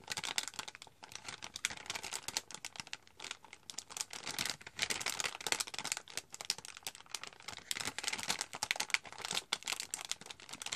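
A partly full cocoa powder packet, a glossy foil-plastic bag, is held in both hands and crinkled and scratched with long nails. The result is a dense stream of bright, crisp crackles and scratchy rustles with almost no low end, coming in uneven bursts with short pauses.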